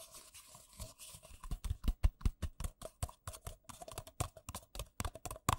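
Fingertips and nails tap fast on two identical empty white paper coffee cups, hollow and thin-walled. The result is a quick, uneven run of short, dry, hollow taps with a scratchy, crisp edge, building from soft brushing into sharper clicks that stop dead with almost no ring.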